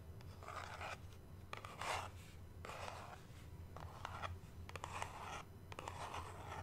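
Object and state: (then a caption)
Cardboard box, tapped and scratched. Long nails tap and scratch the sides of a small, white, cube-shaped cardboard product box, hollow packaging held close to the mic. Bursts of dry, papery scratching alternate with sharper taps over a steady low hum.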